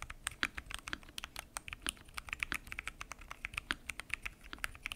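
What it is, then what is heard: Acrylic-cased mechanical keyboard with plastic keycaps. Rapid typing with fingertips on a mechanical keyboard with a transparent acrylic case, pink and teal plastic keycaps and Gateron Brown switches. A fast stream of short, crisp clicky-clacky key presses, bright with little low end and almost no ring after each stroke.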